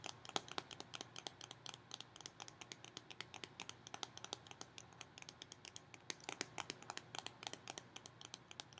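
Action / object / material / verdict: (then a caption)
tap / cardboard snack tube with metal bottom end / metal / none. Long fingernails tap and scratch the metal bottom end and the cardboard body of a Pringles tube held sideways. The result is a quiet, steady stream of rapid, sharp clicks and light scratches, bright and dry with almost no ring or low end.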